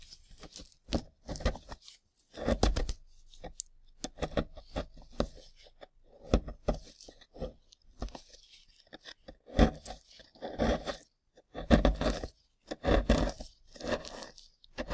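Gloved fingertips scrape and crumble the soft surface of a flat rectangular plaster block with partly exposed plastic bones. Irregular bursts of dry, crunchy scratching and crumbling come and go with short quiet gaps, carrying both a low thud-like body and a bright gritty edge.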